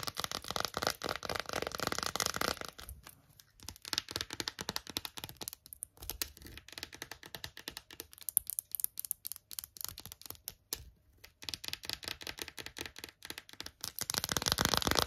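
An empty, small, hollow gold chrome-plated plastic phone case with a shiny, ridged zebra texture is scratched and tapped with long acrylic nails. Dense, bright scratching opens and closes the clip, with rapid, irregular crisp taps and clicks in between.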